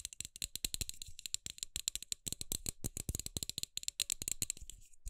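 A hand-sized LED light bulb with a hollow, frosted plastic dome is held in both hands while long acrylic nails tap and scratch fast across the dome. The result is a rapid, dense stream of short, dry, bright clicks with a light rattly edge, each dying away almost instantly.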